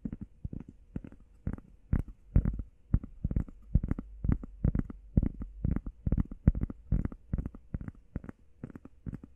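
Long painted nails and fingertips tap and scratch fast on a flat, solid, hand-sized grey textured EVA foam workout pad shaped like a heart. The result is a steady run of quick, dull, low thuds with a soft scratchy edge. Each hit dies almost instantly, with nothing bright or ringing.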